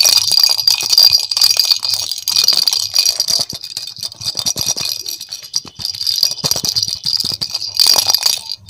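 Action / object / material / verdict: shake / hollow plastic ball with a rattle inside / plastic / none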